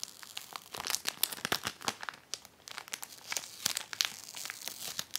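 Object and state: Plastic card sheet protector crinkling.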